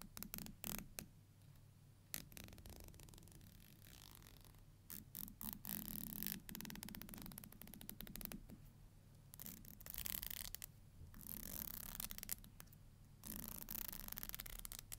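A thin, solid black plastic hair comb has its teeth strummed and scratched by long nails. The result is quiet, rapid, uneven bursts of bright, ticking rasps, with scraping passages in between. A low hum sits underneath.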